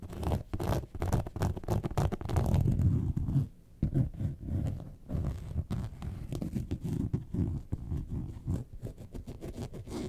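Long nails scratch the top panel of a yellow faux leather lemonade-carton bag lying on its side, making a dense, rapid, low, muffled scratching and rubbing with almost no bright content. The scratching is loudest in the first few seconds, dips briefly near the four-second mark, and then continues steadily at a slightly lower level to the end.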